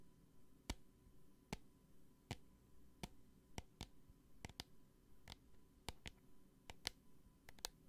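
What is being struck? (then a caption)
Small plastic bottle with gel. Long nails tap a small clear plastic hand sanitizer bottle with a green flip cap and gel inside. Fifteen short, sharp, bright clicks come at an uneven pace, some in quick pairs, each dying away instantly over a quiet low background hum.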